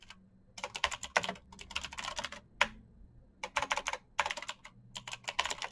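Bare fingertips type quickly across a full-size black plastic mechanical keyboard with clicky green switches, an RGB backlight and a hollow case resting on a desk mat, and the sound is judged not normal. Bursts of sharp, bright clicks come in quick runs with short pauses between them. Each click dies away almost instantly, with very little low-end thump.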